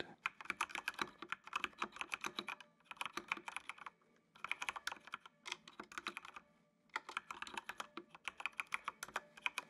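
Fingertips type on the keys of a full-size black plastic mechanical computer keyboard with RGB backlight. Bursts of quick, bright, clacky keystrokes with no ring are separated by brief pauses near the 4- and 6.5-second marks.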